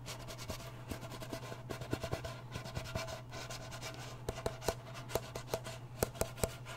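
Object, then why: Small round metal tin. A small round blue metal Nivea cream tin is held sideways while fingertips and nails scratch and rub its lid and rim. Soft, continuous scratchy rubbing is broken by short, sharp, dry ticks and taps that grow more pronounced toward the end. A steady low hum runs underneath throughout.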